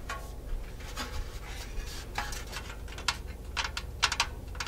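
A tall painted metal Halloween cat figure in a "BOO" robe, probably hollow sheet metal, is held in the hands and scratched and tapped with long nails. Soft raspy scratching runs throughout over a low steady hum, broken by several bright, sharp nail taps that ring only briefly with a thin metallic tone around 1.4 kHz.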